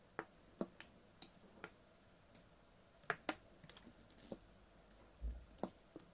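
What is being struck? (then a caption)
Full plastic water bottle. A clear, ribbed PET water bottle with a blue cap, full of water, is held sideways and tapped with fingernails. About fifteen quiet, sharp clicks and ticks come at an irregular pace, each dying away almost at once. A soft, low thump is heard near the end.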